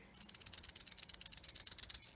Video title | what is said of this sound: A Home Educator: Beachcombing With Wayne | the surefire way to know if it's alive is to shake it and to listen for the sound